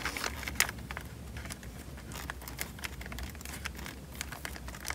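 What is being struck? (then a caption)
Plastic bag filled with water. A small, square, clear plastic bag full of water is held above a microphone in both hands and pressed and rubbed with the thumbs. It gives a steady stream of soft, bright crinkles and sharp little crackles over a low, constant hum, with one louder crackle near the start.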